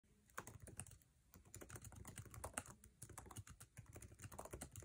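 Fingertips of both hands rapidly tap a MacBook Air's low-profile backlit keyboard, with plastic keycaps set in an aluminum chassis, as the laptop rests on a table. The result is a dense, quiet stream of short, dry clicks and thuds. Each keystroke has a soft low body and a bright tick, and dies away almost instantly.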